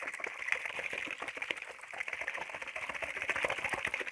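A clear plastic spray bottle with a black trigger head, hollow and partly filled with water, is held in one hand and shaken. It gives a steady stream of quick, bright plastic clicks and rattles with light watery sloshing, concentrated around 2 kHz with almost no low end.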